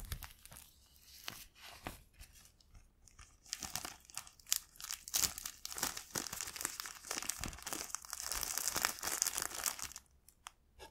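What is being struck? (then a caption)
Empty thin plastic bread bag. A single clear, thin, empty plastic bread bag is opened and rubbed between fingertips, giving a bright, dense crinkling with sharp crackles. The crinkling starts sparse and quiet, swells into a steady, busier rustle through the middle and later part, then drops off near the end.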